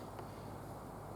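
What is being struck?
Nothing is struck.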